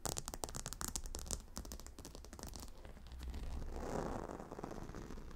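Long nails scratch and tap the hexagonal stone tiles of a gemstone hot stone pillow lying on dark carpet, with both hands working the surface. Quick, bright clicking taps come first, then ease into a softer, steady scratching rub with a swelling hiss. A low hum runs underneath throughout.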